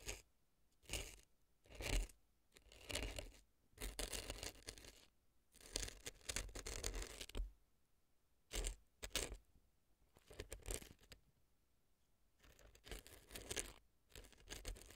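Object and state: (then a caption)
Dry floral foam scraped inside a silicone ear. A brown earpick scrapes dry floral foam packed inside the left ear canal of a silicone fake ear resting on a dry floral foam block. Bursts of crisp, crunchy scratching come and go in short strokes with quiet gaps between them. The scraping is dry and bright with a low rumbling body.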